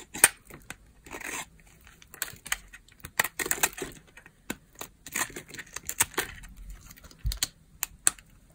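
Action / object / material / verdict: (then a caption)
scrape / bar of soap scraped with a knife blade / soap / none. A palm-size solid bar of dry purple soap is held in the hand and scraped with a utility knife blade. The clip is a quick, irregular series of short, bright, crackly scrapes and flaking sounds, some drawn out and others sharp, with brief quiet gaps between them.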